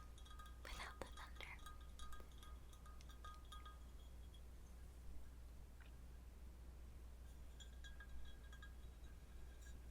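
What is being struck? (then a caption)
Square glass container. A square glass container is tapped over and over, giving quiet, bright clinks with short ringing tones around 1.2 kHz and higher, like raindrops on glass. The taps cluster in the first four seconds, thin out, then return near the end over a steady low hum.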